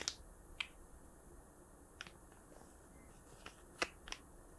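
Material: Plastic.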